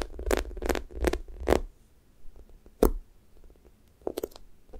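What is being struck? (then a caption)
Foam squishy toast toy with sticky top. Fingernails press into a thick strawberry toast squishy toy with a pink sticky top, made of soft, solid foam, then peel off, leaving dimples. A series of short, sticky crackling peels is heard, each with a brief bright edge over a soft low rumble and quiet pauses between.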